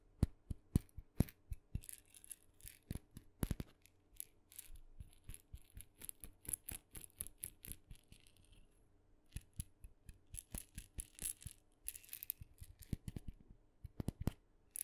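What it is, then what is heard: Wooden mini maraca. A small, hollow, painted wooden mini maraca, red with dots and a wooden handle, is tapped with fingernails and gently shaken. Quick, sharp dry clicks and ticks come in uneven bursts with brief soft rattles between them. A faint low hum sits underneath.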